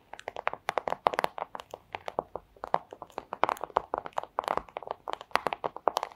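A thin, transparent plastic pouch is tapped with the tips of long acrylic nails in a quick, uneven rhythm of about 37 short, crisp clicks over six seconds. Each tap is a dry, sharp tick centered around 800 Hz with a slight crinkly edge, almost no low end, and no ring after it.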